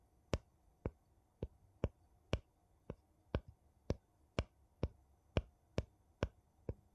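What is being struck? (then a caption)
Metal lid on a small glass jar. A gold metal lid on a small glass jar, held sideways, is tapped and clicked along its edge with a thin wooden piece. Fourteen short, dry, evenly spaced clicks sound over quiet background noise, each sharp and bright with almost no ring.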